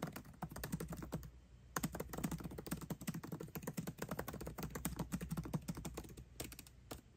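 A 13-inch aluminium MacBook Pro with backlit black plastic keycaps is typed on fast with the fingertips of both hands, tapping the keys continuously. A steady stream of short, dry clicks with low thuds underneath runs throughout, with a brief dip in the typing shortly before the two-second mark.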